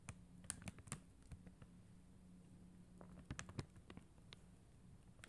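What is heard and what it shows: Long mint-green acrylic nails tap and scratch across a flat acrylic rhinestone sticker sheet of blue and clear faceted adhesive gems. Quiet, sharp, bright clicks and ticks come in uneven clusters with soft scratching between them. A faint steady low hum runs underneath.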